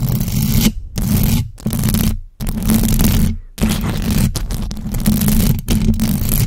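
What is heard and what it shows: Long acrylic nails of both hands scratch fast across the hollow metal mesh grille of a large black USB microphone. The result is loud, dense, rasping bursts with a heavy low rumble and a steady low buzz, topped by bright scratchy hiss. Each burst is cut off by a brief silence before the scratching starts again.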